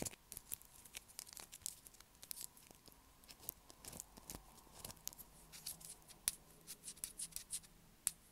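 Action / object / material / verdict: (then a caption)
scrape / bar of soap scratched with fingernails / soap / none. Long black acrylic nails scratch a light blue solid bar of soap held in the hands, making a quick, uneven run of crisp, bright scraping clicks. Each stroke is short and dry, and a faint steady hum sits underneath throughout.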